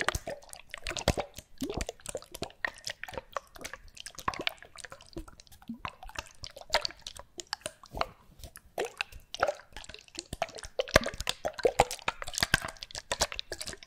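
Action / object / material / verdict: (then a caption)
shake / small bottles containing liquid / unknown / none. Small bottles containing liquid are shaken close to the microphone as an ASMR trigger, producing rapid wet sloshing, plops and drips. The short, clicky splashes come in dense bursts with a mid-range tone and bright edges. The sloshing confirms there is liquid inside.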